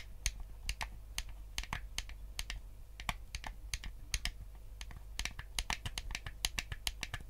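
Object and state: Plastic game controller.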